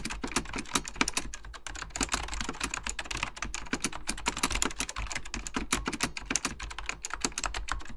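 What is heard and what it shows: Fingertips type rapidly on an Apple Extended Keyboard II, a plastic mechanical computer keyboard with beige plastic keycaps and a hollow plastic case. A dense, steady stream of sharp clacky key taps combines a low thump with a bright click, each dying away almost instantly.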